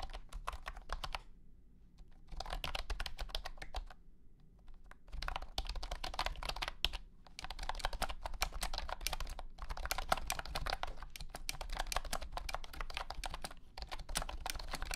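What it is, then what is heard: Plastic keyboard with hexagonal keycaps. A blue and white honeycomb keyboard with hexagonal plastic keycaps in a hollow plastic case is typed on with the fingertips of both hands. Bursts of rapid, short, bright clacks run in quick flurries with brief pauses between them, over a steady low rumble.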